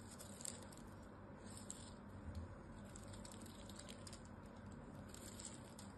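A small knife scrapes and cuts into a solid blue bar of soap with a net-pattern surface, held in the hand. Quiet, continuous scraping and shaving is heard, with soft crumbly ticks and a few slightly louder bright scratches.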